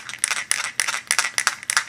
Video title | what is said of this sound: BOLBG: 40maxx gas gel/orbeez grenade review | shake it with no pin in it you can hear a rattle inside it